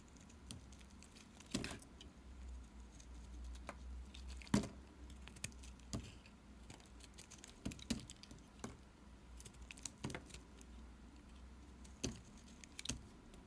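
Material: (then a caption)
Soap. A pink bar soap is scraped with a utility knife, shaving off flaky curls. Soft, quiet scratching and crackling runs throughout, broken by sharp, bright snaps and clicks over a low steady hum.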